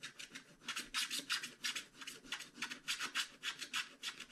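A wooden stylus scratches away the coating of a flat scratch-art card page in short strokes. The result is a quick, uneven series of dry, bright rasping scrapes, each brief and hissy with almost no low end.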